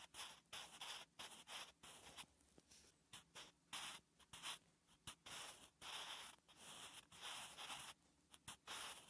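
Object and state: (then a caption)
Pencil writing on a paper notebook page. A wooden graphite pencil held in the fingertips writes Korean letters on a flat, solid, lined paper notebook page. Steady, bright scratching strokes come in short bursts separated by brief pauses, with almost no low end.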